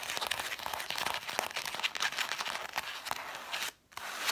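Long nails rub and scratch along the red cloth-covered spines of a stack of cloth-bound hardcover books. The result is a dense, dry, crinkly scratching with quick bright ticks and almost no low end. The sound drops to near silence for a moment before it resumes.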